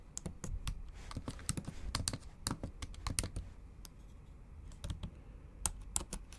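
Long acrylic nails type on the black plastic keys of a MacBook Pro keyboard set in an aluminum body. The clip is a quick, irregular run of short clicking taps, each with a low thump and a bright, crisp edge that stops almost at once.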